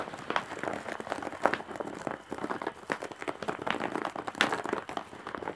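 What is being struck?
Woven straw bag.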